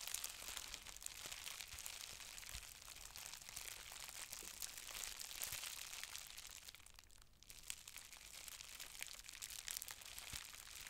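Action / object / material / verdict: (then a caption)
scrape / plastic bubble wrap sheet / plastic / none. A loose sheet of green plastic bubble wrap with hollow air bubbles is held in both hands and crumpled and squeezed with fingers and long red nails, popping the bubbles. A steady, bright crinkling runs throughout, scattered with sharp, quick pops and crackles. The sound briefly quiets around seven seconds before resuming.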